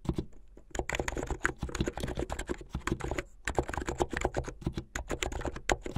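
Fingertips with medium-length painted nails type fast on a plastic mechanical keyboard with white and blue plastic keycaps. Rapid, dense keystrokes give short clacks with a solid low body and crisp bright edges. Brief lulls come near half a second and again around three and a half seconds.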